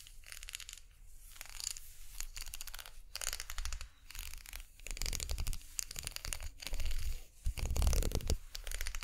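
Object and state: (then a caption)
Plastic brush handle, scratched and tapped. Long nails scratch and tap along the spiral ridges of a plastic unicorn-horn makeup brush handle held horizontally in both hands. The result is a quiet, dense, crackly scratching in bursts, with bright, high rasping over a low rumble, swelling louder toward the end.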